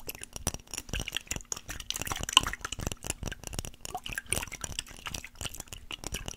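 A small clear glass mason jar with a metal lid, holding some liquid, is held in both hands and tapped and scratched with fingernails. Quick, bright clicks and taps with a short glassy ring around 2.9 kHz mix with scratchy rasps and soft liquid drips and sloshes.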